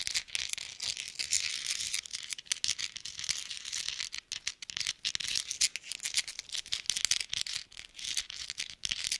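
Small hollow metal thimbles worn on gloved fingertips are tapped and clicked together repeatedly close to the microphone. The result is a dense, rapid stream of bright, high-pitched metallic clicks and rattles with almost no low end, each one dying away instantly. The clicking comes in uneven bursts with brief pauses.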